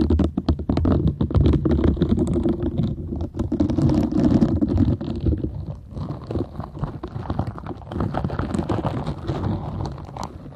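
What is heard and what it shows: Long nails scratch and rub the nubs of a green silicone bristle scrubber held in both hands, and the pad is tilted at the end. Dense, rapid, irregular scratching and rubbing comes with a low rumbling body, louder through the first half and softer and lighter in the second half.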